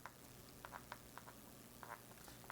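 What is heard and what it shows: Pressing repeatedly on a hollow spot in the front panel of a Boox Note Air 3C e-ink tablet screen produces a series of quiet, short, sharp clicks centered around 1 kHz, each dying away almost instantly. The panel there seems to have nothing underneath to stop it from moving, an abnormal hollow spot, though pressing it causes no visible color distortion or warping on the display.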